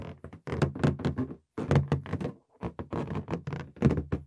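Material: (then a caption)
Latex. A green inflated latex balloon, hollow and air-filled, is held in both hands while fingertips tap and patter on its surface. The taps come in quick bursts of dull, low, hollow thunks with short pauses between, each one dying away almost at once.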